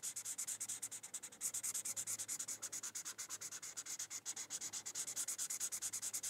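A teal felt-tip marker scratches and rubs back and forth across a thin white paper coloring sheet while coloring. About 56 quick, bright, hissy strokes follow one another in a steady, slightly uneven rhythm, each a short burst of dry high scratching with almost no low end.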